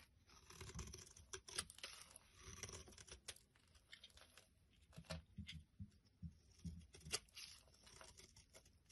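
A thin metal blade scrapes and shaves flakes off a solid, rectangular bar of green soap with a ridged surface, held in the hand. Quiet, bright, dry scraping and tearing strokes come in uneven bursts, each with a soft low thud and almost no ring.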